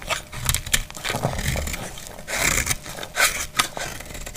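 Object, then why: Bar of soap scraped with a metal blade. A metal utility blade scrapes and cuts a solid, dry, palm-sized brown rectangular household soap bar, shaving off curls and flakes. Bright, crisp scraping strokes alternate with sharp, quick cutting snaps over a faint low rumble, each stroke dying away almost immediately.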